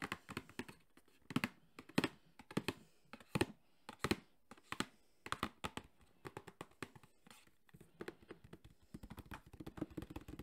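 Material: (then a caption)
Cardboard. A JBL Flip 5 cardboard box is held sideways and tapped rapidly with the fingertips on its printed face. The result is a fast, uneven run of short, dry, hollow taps, each thudding around 270 Hz with almost no ring. The taps sometimes bunch into quick flurries, and the run grows denser toward the end.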